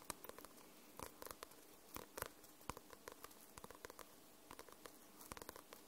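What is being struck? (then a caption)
Paperback book with glossy paper cover. Long nails tap and scratch the glossy paper cover of a paperback book. The result is a quiet, uneven series of short, dry clicks that stop almost instantly, with bright crisp edges over a faint scratchy rustle.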